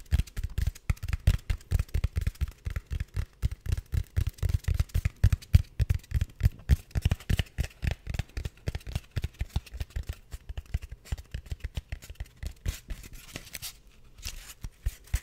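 A solid, hand-sized white styrofoam piece is held near the microphone and scratched with fingernails. Dozens of quick, irregular, dull scratches follow one another, each short and muffled with heavy low-end thump and almost no ring, and they thin out briefly near the end before resuming.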